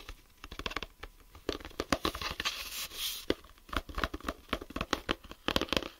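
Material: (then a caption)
Plastic. Fingertips and nails tap and scratch the lid of a closed, hollow clear plastic geometry set case with a grey ribbed hinge and tools inside. Quick, dry clicks and taps come in uneven bursts, mixed with brief rough scratching and a softer rasping stretch near the middle. The clicks are sharp and bright with almost no ring.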